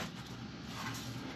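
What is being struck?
Nothing is struck.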